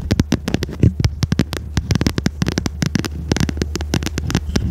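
Long red nails tap and scratch the stiff cover of a small red notebook with metal spiral binding, held in both hands. A rapid, uneven series of short, dry clicks and scratches runs over a steady low hum, with brief taps that die away almost at once.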